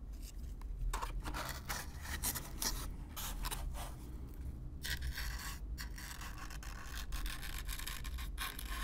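A stiff black-bristle brush is brushed across the surface of a hollow brown corrugated cardboard box, close up. Repeated dry, scratchy strokes come in bright, hissing bursts over a steady low rumble, at an even level throughout.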